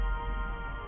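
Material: Nothing is struck.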